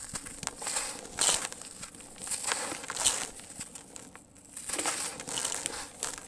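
Solid, dry, grainy sand-cement chunks are held in the hands over a tub of loose sand-cement and crushed and crumbled between the fingertips. It makes a dry, gritty crunching and crackling sound in uneven bursts, and dusty grains fall with a bright, hissy patter.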